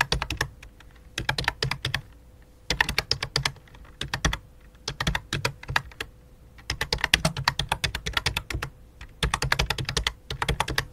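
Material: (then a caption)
Plastic. Fingertips with long dark nails type on the letter keys of a full-size white and light-blue plastic computer keyboard resting on black cloth, then one hand moves over to tap the numeric keypad. Quick bursts of bright, dry clacks come in clusters separated by brief pauses, each tap with a soft low thud underneath and almost no ring. A faint steady hum sits in the background.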